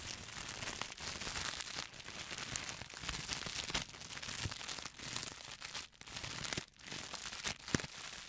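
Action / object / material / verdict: scrape / plastic poly mailer bag / plastic / none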